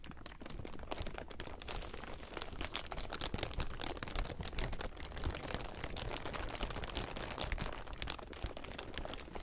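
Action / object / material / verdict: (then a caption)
scrape / thin clear plastic sheeting / plastic film / none. A large heap of thin, clear plastic sheeting is crumpled and scratched by the fingertips of both hands. The result is a dense, continuous crackling crinkle with bright, sharp snaps over a steady low rustle, with no pauses.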